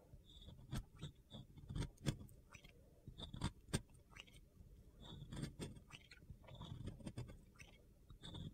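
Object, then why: Glitter-coated round soap bar. A metal box cutter blade shaves a solid, round, pink-glitter-coated soap, cutting into crumbly white soap underneath. Soft gritty scraping and crunching run throughout, broken by irregular sharp, bright clicks and snaps over a low, dull rumble.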